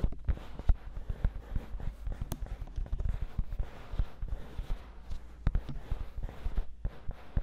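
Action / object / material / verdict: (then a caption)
scrape / silicone ears of a binaural microphone / silicone / none. Fingertips and long nails scratch and rub the white silicone ears of a 3Dio binaural microphone, one hand on each side. The result is a steady run of soft, close, low-heavy thumps and rustles with short sharp taps scattered throughout.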